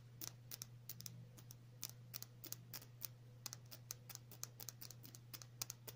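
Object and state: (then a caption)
Glass nail polish bottle. Long natural nails tap a small clear glass nail polish bottle with a black cap, filled with clear polish. A quick, irregular run of short, bright clicks with almost no ring sounds over a quiet, steady low hum.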